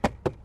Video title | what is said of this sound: How To Fix 2014 - 2018 Silverado and Sierra Dash Rattle | if you shake this there still is a little bit of a rattle and what that actually is is your hood release